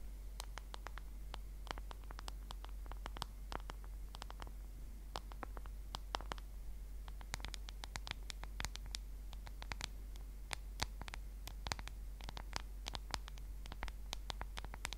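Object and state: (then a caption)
Smartphone in a plastic case tapped and scratched with nails. Long nails tap and scratch the back of a solid smartphone in a black case, held horizontally close to the mic. Many sharp, dry clicks with bright tails sound over a quiet, steady low hum, with brief scratchy rasps between the taps.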